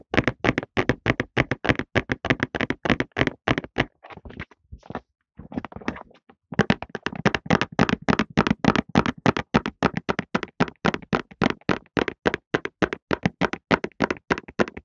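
A medium-size Softlan cardboard tissue box, hollow and full of tissues, is held in both hands and tapped along its long side with fingertips and short nails. Quick, dry, uneven taps run nonstop with almost no ring, and a brief quieter stretch in the middle has softer scratchy touches before the tapping returns.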